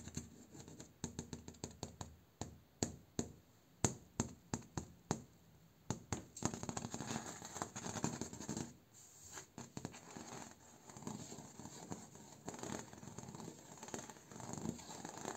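A bamboo door is tapped with a run of quick, dry, sharp taps that die away almost instantly. The tapping then gives way to steady tracing and scratching across its surface, with no voice.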